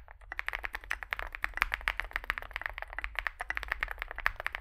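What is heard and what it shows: Fingertips type continuously on a small Zoom65 65% mechanical keyboard with a dark case and white and grey plastic keycaps. Quick, sharp clacks follow one another rapidly, with a bright, clicky tone centred in the upper mids and a faint low hum underneath. Each keystroke dies away almost instantly.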